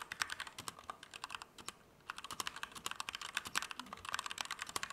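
A compact Keychron K2 V2 mechanical keyboard with Gateron Red switches, plastic keycaps and an aluminum frame is typed at a medium to fast pace with the fingertips. Rapid, short, bright clacks come with almost no low end, with a brief pause just before the two-second mark before the typing picks back up.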